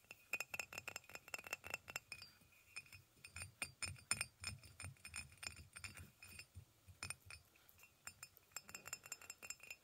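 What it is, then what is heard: Ceramic mug tapped with fingernails. A hollow white ceramic mug resting on a blanket is tapped with fingernails on its body and near the handle. The result is a quick, irregular series of bright, dry clinks with very little ring and a faint low thud under some taps.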